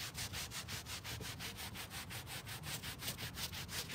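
A gloved hand scrubs a flat, damp grey carpet car floor mat with cleaner on it back and forth using a stiff-bristled plastic scrub brush, while the other hand holds the mat down on a white plastic folding table outdoors. About a dozen steady, bright, scratchy bristle swishes rise and fall over a low rumble.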